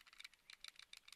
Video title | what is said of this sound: Airsoft Revew S18 Stark Arms (G18) FR | il a du jeu comparé à celui en plastique